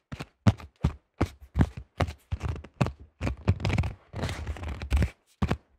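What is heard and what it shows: Fingertips tap quickly on the rim edge and face of a cream AGL plastic disc golf disc with a thin shell, making a fast run of short, dull, low-pitched taps that die away almost at once. Around the middle the taps blur into longer, scratchy rustling bursts before the separate knocks return.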